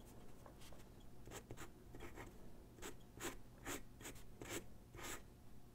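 A graphite pencil sketches and shades on a single white sheet of drawing paper resting on a wooden desk. Quiet, irregular bursts of scratchy, bright strokes and softer rubbing rise over a low steady hum. They come in a loose rhythm of short strokes that fade quickly.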